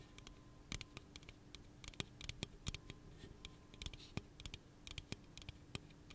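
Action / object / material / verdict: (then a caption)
tap / aluminum drink can / aluminum / none. Fingernails tap and scratch the body of a hollow pink aluminum soda can held in the hand. The sound is an irregular run of quick, dry, bright clicks mixed with soft scratchy rasps, each dying away almost instantly, over a faint steady low hum.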